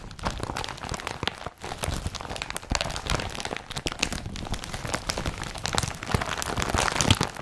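Fingers rub and scratch the rolled strap and body of a blue woven polypropylene IKEA BRATTBY carrier bag, which is rolled up. The result is a steady, dense stream of dry crinkling and scratchy crackles, with bright rustling texture and short, quickly fading transients throughout.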